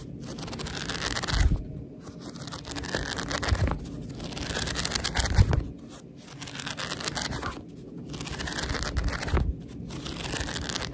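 Long red nails scratch and rub across the top page edges of a thick paperback book with white paper pages, held horizontally. The result is a dry, papery scraping and crinkling that rises and falls in roughly two-second strokes, with bright hiss and soft low thumps. Brief quiet gaps fall between some of the passes.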